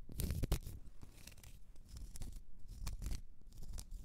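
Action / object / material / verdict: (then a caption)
scrape / small round cork stopper / cork / none. Long red nails scratch a small, solid, round cork stopper. The clip is a run of dry, rasping scratches with bright, gritty bursts over a dull low rumble.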